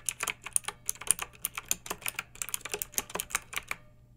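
Fingertips with long nails type continuously on a pink backlit plastic mechanical keyboard with round keycaps. About two dozen short, bright, clicky keystrokes come in a steady, uneven rhythm, each dying out almost instantly, with little low-end weight.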